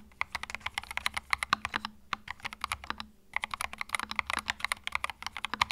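Fingertips type continuously on a compact white mechanical keyboard with plastic keycaps, producing rapid, bright, clacky keystrokes with almost no ring. The typing runs in quick bursts with two brief lulls partway through.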